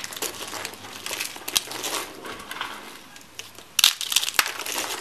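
Small dry peach soap curls are picked from a pile of flakes and crushed between the fingers. A dense, bright crunching and crinkling runs throughout, with a few sharper cracks standing out near the end.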